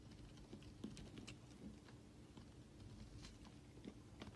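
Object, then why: Solid bar soap shaved with a blade. A utility knife blade shaves flakes off the edge of a solid rectangular white bar of soap held in the hand. Soft, quiet scrapes and light crisp ticks come in an irregular patter over a faint low hum, each stroke fading quickly.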